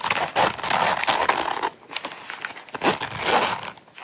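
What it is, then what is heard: Coated canvas wallet. Long nails scratch and tap the sides and zipper edge of a small closed Coach coated-canvas zip wallet held in the hands. Dense, bright, papery rasping comes in bursts, with a quieter stretch of lighter scratching in the middle before another strong burst. There is almost no low end.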